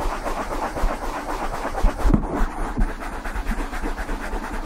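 Fingertips and nails rub and scratch the surface of a soft, black open-cell foam cover that sits hollow over the capsule of a silver USB microphone. The result is a steady, muffled low rumble of rustling and scraping with soft thumps, its energy mostly deep and with almost no bright content.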